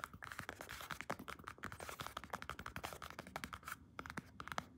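Long red-painted nails rapidly scratch and tap a large black padded leather (possibly faux leather) belt, likely a weightlifting belt with white contrast stitching, held against the body. The result is a quick run of dry, clicky taps and scratchy brushing with a faint tonal edge near 1.3 kHz and a bright, papery hiss. Each hit dies away almost instantly.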